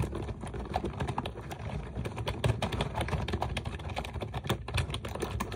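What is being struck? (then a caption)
Plastic computer keyboard with round keycaps. Fast typing with long nails and fingertips on a pink plastic computer keyboard with round keycaps resting on a desk. A rapid, steady stream of short, dry clicks and taps sits over a soft low rumble, each tap dying away almost instantly.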